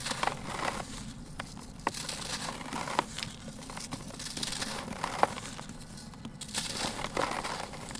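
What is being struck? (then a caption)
Sand-cement chunk. Fingers squeeze and crumble a broken-off piece of a large, solid, dry, grey sand-cement chunk in a turquoise basin until it falls apart into gritty powder. A steady dry crunching and crackling runs throughout, broken by short, sharp clicks as bits snap off, with a faint low rumble underneath.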